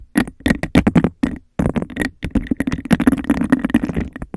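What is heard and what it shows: Long nails scratch and tap quickly around the rim and sides of an empty, hollow, clear textured glass cup held over a microphone. Dense, rapid bursts of scratching and tapping carry a hollow, boomy resonance around 190 Hz, pausing briefly near the middle before picking back up.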